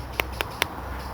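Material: Dry fungus.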